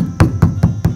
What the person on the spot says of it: it sounds like a drum when you tap it